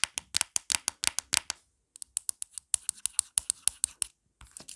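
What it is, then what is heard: Plastic phone case. Long black nails rapidly scratch and tap the back and edges of a marble-print plastic phone case with a pop grip. The result is a fast, irregular run of sharp, bright clicks and scrapes with almost no low end and no ring. It stops for a brief gap about halfway through.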